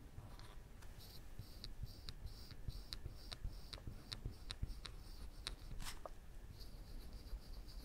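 A woodburning pen's wire tip is scratched and dragged along a chin outline on a flat, thin plywood panel. Quiet, short, bright scratching strokes repeat over a steady low rumble, each stroke dying away almost at once.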